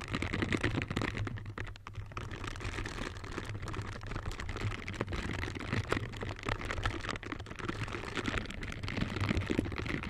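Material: Silicone.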